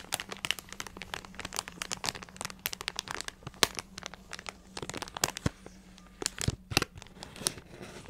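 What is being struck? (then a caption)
Plastic snack packet with crackers. A full plastic multipack bag of Ritz mini crackers is crinkled and tapped with long nails. Dense, bright crinkling is broken by many sharp, quick clicks and crackles that stop almost instantly. A faint, steady low hum sits underneath.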